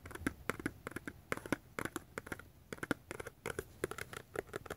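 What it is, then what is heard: Small cardboard box. Fingertips and nails tap and scratch the sides of a small, closed, hollow yellow-brown cardboard box with a white label. About two dozen quick, dry, clicky taps come in uneven bursts, each with a soft low-mid knock and almost no ring, broken by brief scratchy rustles.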